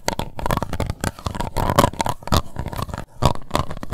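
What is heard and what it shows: An empty, hollow, translucent pink plastic cup has its embossed base scratched and tapped with long white nails. The result is a dense run of close, dry clicks and scratchy rasps with a low body, each one cut off almost at once.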